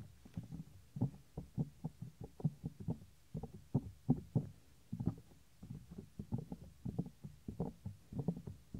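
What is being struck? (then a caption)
Soft silicone microphone ear. Fingertips tap and rub the small, solid, white soft silicone ear of a 3Dio binaural microphone. The result is a steady run of dull, low, thumping taps with brief rubbing in between, each hit short and close with almost no ring or high end.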